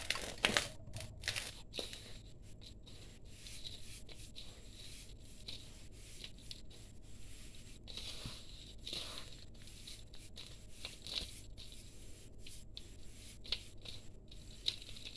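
Hands dig into, rub and crumble a large heap of fine, barely damp grey sand-cement powder in a steel bowl. The result is a quiet, steady gritty rustle with bright, crisp crunches scattered throughout, plus a faint low hum underneath.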